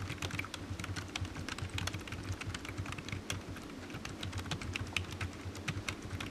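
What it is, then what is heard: Plastic computer keyboard. Fingertips of one hand tap rapidly on the keys of a solid, black low-profile plastic computer keyboard resting on a desk mat. The result is a quick, steady run of short, bright clicks over a constant low hum.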